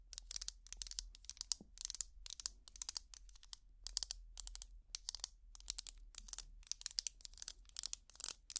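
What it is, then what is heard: Plastic tangle toy. Long plastic finger picks scratch along the ridges of a small purple ridged plastic tangle toy. Dozens of quick, dry, bright scratching strokes come in rapid bursts, each cutting off almost instantly, over a faint low hum.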